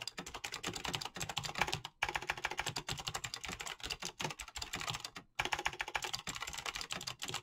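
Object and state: Mechanical keyboard with plastic keycaps.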